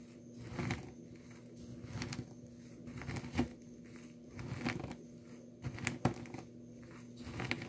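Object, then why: Crumbled soap in a plastic tub. Finely crumbled dry blue soap shavings in a small clear plastic tub are ground and crushed with the glass base of a nail polish bottle. Quiet, gritty crunching and crackling come in uneven bursts over a low rumble, with occasional brighter crackles standing out.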